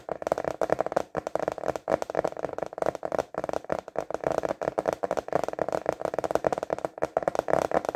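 A translucent plastic container lid, held upright and tilted, is tapped quickly with fingertips and short nails. It gives a steady stream of short, dry, clicky taps centred in the mid range around 600 Hz, each dying away almost instantly with no ring.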